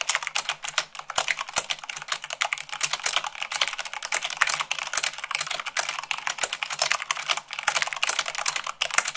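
Fingertips with long pink nails type fast on a full-size mechanical keyboard with white plastic keycaps on a black frame. A dense, continuous stream of sharp, bright plastic clicks and clacks, each decaying almost instantly, with no low end. The keystrokes run together too quickly to count.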